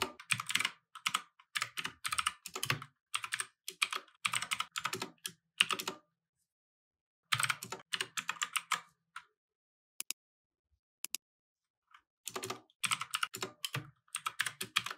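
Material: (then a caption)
Plastic. Fingertips type rapid key taps on a small 60% plastic mechanical keyboard with white, grey and red plastic keycaps resting on a wooden desk. Bursts of short, bright clicks with almost no ring come in steady runs, broken by a pause of about a second and a sparse stretch of isolated taps before fast typing resumes.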